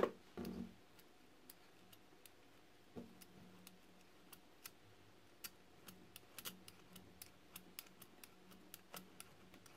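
A solid yellow and white striped soap bar held in hand is scraped repeatedly with a metal roller cutter tool, shavings falling. A louder rustling burst at the start gives way to a long series of short, dry, bright ticks over a quiet background.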